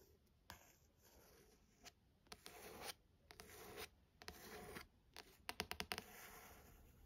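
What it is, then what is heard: Paperback book cover. Fingernails rub and scratch across the card cover and edge of the back of a paperback novel. It is a quiet, dry, hissy sound of longer rubbing strokes broken up by short, sharp scratches, with a quick burst of crisp flicks near the end.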